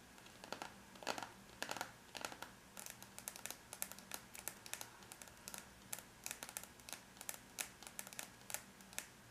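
Long bare natural nails of both hands tap rapidly on the closed silver aluminum lid of a laptop, a flat, thin, hollow-backed metal shell with the logo visible between the hands. The result is a quick, irregular run of light, bright clicks that die out almost at once, with a faint low hum underneath.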